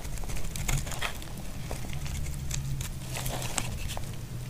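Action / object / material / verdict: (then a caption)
scrape / bar of soap shaved with a blade / soap / none. A utility blade shaves the edges of a solid, dry brown bar of soap, making a run of short, crisp, bright scraping ticks and crackles. Underneath runs a steady low hum that carries most of the sound's energy.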